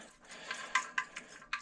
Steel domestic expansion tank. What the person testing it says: the good old ring test, it sounds the same on both sides